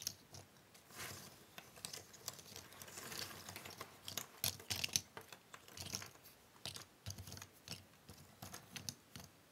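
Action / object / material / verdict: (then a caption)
scrape / pile of cardboard jigsaw puzzle pieces / cardboard / none. Hands with long nails shuffle and scratch through a large pile of small, thin cardboard jigsaw puzzle pieces on a wooden table. Soft, bright rustling and rapid dry clicks and taps come in uneven bursts, with a steady quiet scratching texture beneath. The result is a dense, crisp clatter of light pieces shifting against each other.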